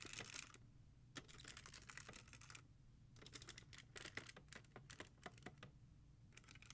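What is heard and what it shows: Long painted nails tap and scratch fast along the spines of a row of about 15 hard plastic CD jewel cases from an old music collection, standing in a black holder. Quick, bright, dry plastic clicks come in dense bursts with scratchy sweeps between them, each click dying almost instantly. A steady low hum runs underneath throughout.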